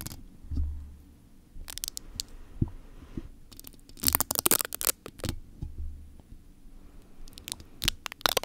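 A hollow metal mesh microphone grille is lightly scratched and tapped with fingertips and nails. Clusters of dry, bright scratching and crackling alternate with soft low thumps and quieter rubbing, close and intimate. Each sound stops instantly with no ring afterward.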